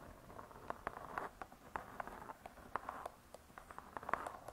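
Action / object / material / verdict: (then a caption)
tap / cardboard-covered spiral-bound book / cardboard / none. Long nails tap on the cardboard cover of a spiral-bound hardcover cookbook lying flat. The result is a quick, irregular run of soft, dry clicks centered in the midrange around 1 kHz, with almost no low end and no ring, over a faint hiss.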